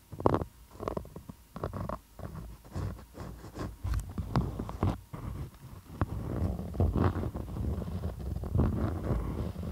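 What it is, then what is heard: Beeswax-coated cotton food wrap. Long acrylic nails scratch and tap across a thin, stiff, patterned beeswax-coated cotton food wrap draped over a microphone, heard in close-up. Short, crackly waxy taps and rustling scrapes come in bursts over a low, muffled rumble, with the scratching growing more continuous in the second half.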